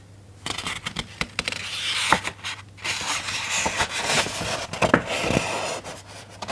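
Fingertips rub and trace across the printed paper pages of a large open hardcover children's picture book lying on a desk, then lift and turn the page. The result is a bright, papery scraping and swishing with short crisp ticks and rustles scattered throughout, over a faint low hum.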